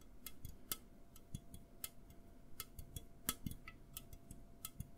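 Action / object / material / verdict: tap / aluminum drink can / aluminum / none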